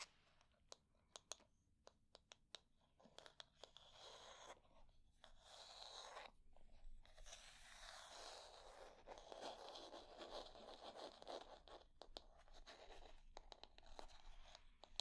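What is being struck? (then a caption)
Wooden hair brush. Long nails tap and scratch the back and handle of a light wooden hair brush with wooden pins and a solid wood body. Quiet, sharp, dry clicks come first, then give way to soft, continuous, bright scratching with more taps mixed in, all with almost no ring.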